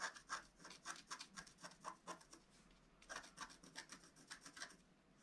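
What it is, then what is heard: Scratch art paper being scratched. A wooden stylus scratches leaf shapes into a flat scratch art paper sheet with a black coating, using rapid strokes. The short, dry rasping scrapes have a bright, airy texture and arrive in quick, uneven bursts, with a brief quiet gap near the middle before the strokes resume.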